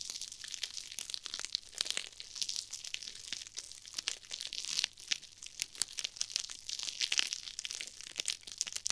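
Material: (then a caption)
Nylon mesh. A pair of small pink and red foam-filled nylon-mesh scrub sponges is squeezed and crushed between fingers with long painted nails, right next to the microphone. The result is a steady stream of dense, bright crinkling and crunching, made of many quick, sharp crackles with almost no low end.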